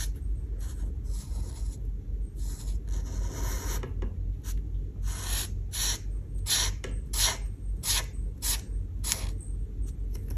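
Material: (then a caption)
Paper. A light blue felt marker tip is rubbed in coloring strokes across a paper coloring page resting on a table (oven window). Bright, scratchy rasping bursts come and go in an uneven rhythm over a steady low background rumble.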